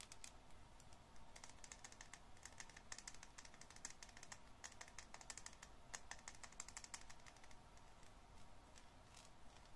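Long painted nails and fingertips tap and scratch the embossed surface of a dry, solid, unwrapped yellow Bianca bar soap held in the hand. The result is a quiet, steady stream of rapid, crisp clicks with bright, sharp ticks that die away almost at once, over a soft low background hiss.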